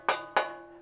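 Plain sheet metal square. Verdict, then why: Resonant. A plain, undamped square of sheet metal from a van panel is tapped twice, giving two bright, clanging metallic hits around 850 Hz. Each hit leaves a tinny, echoing ring, showing the bare panel resonates.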